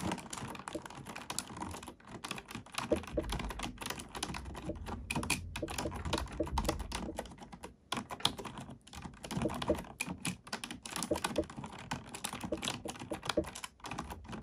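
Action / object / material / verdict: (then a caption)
tap / plastic computer keyboard / plastic / none. A black plastic computer keyboard is typed on with both hands, using fingertips and nails, producing a steady stream of quick, dry clicks and clacks with bright tips. Brief pauses break the typing near 2 and 8 seconds, and a low rumble sits underneath through the middle of the clip.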